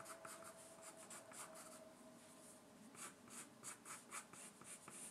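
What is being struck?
Graphite pencil on a paper sheet.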